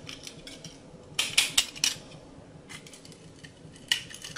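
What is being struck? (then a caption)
Bar of soap cut with a blade. A small, solid, rectangular bar of dry soap with a rainbow glitter coating is held in one hand over a glass bowl while the other hand, with long red nails, cuts and scrapes it with a utility knife blade, letting chips fall into the bowl. Bright, crunchy cutting sounds run throughout, with a cluster of sharper, louder crunches in the middle and another near the end. Each crunch is dry and short, with almost no ring.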